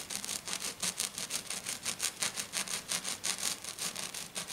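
A hand scratches fast with its fingernails across a flat silver glitter sheet lying on a table. About twenty quick, evenly paced brushing strokes make a bright, crisp scratchy hiss with almost no low end.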